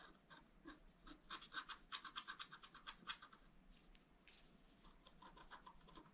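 A wooden stylus held in the fingers scratches the lines of a fountain picture into a black wax-coated scratch art sheet with a rainbow layer underneath, lying flat on a table. Quick, dry, bright scratching strokes come in an uneven rhythm, loudest and densest in the middle, then fade to softer, fainter rubbing.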